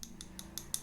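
Light taps on the original metal body of a vintage miniature. There are five short, bright clicks with a high, glassy ring that dies away almost at once over a faint low hum. They sound like solid metal, not the plastic tail glued on later.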